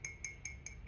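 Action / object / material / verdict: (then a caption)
tap / ceramic cup / ceramic / high-fired. A modern high-fired ceramic cup is tapped five times, giving bright, high-pitched clinks that ring near 2.2 kHz and fade quickly. The higher pitch comes from the cup being fired at a high temperature in a modern kiln.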